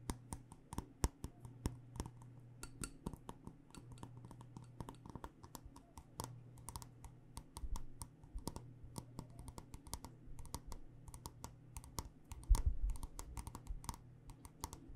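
Long nails tap rapidly on the base and sides of a black glass candle jar filled with wax, producing dozens of quick, sharp clicks that stop almost instantly. A steady low hum runs underneath the taps throughout.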